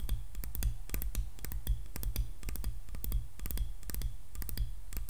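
Long nails tap quickly on the solid wooden handle and back of a hairbrush. They make rapid, dry, bright clicks that stop almost at once, over a steady low hum.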